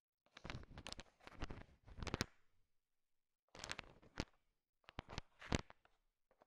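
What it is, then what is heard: Candy-coated chocolate candies. A thin wooden stick stirs a large pile of small, solid, sugar-shell-coated chocolate M&Ms, so the candies click against each other. The quiet, dry clicks and rattles come in three bursts separated by short silences, each click dying away almost at once with a bright edge.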